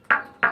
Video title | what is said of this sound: Livestream Lesson #19 - The Rock Cycle | this metamorphic one super heavy super dense